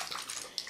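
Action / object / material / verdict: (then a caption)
shake / small bottle of liquid foundation / liquid / runny. A bottle of very liquid, water-based foundation is shaken thoroughly close to the microphone, giving a quick, bright, wet sloshing. The liquid is heard moving freely inside the bottle, with two sharper splashes.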